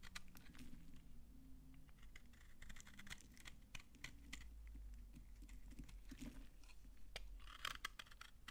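A utility knife scrapes dry shavings off a solid pink soap bar held in the hand. Dense bursts of short, crisp scraping ticks with bright, dry edges run over a steady low rumble, with a louder crunchy cluster near the end.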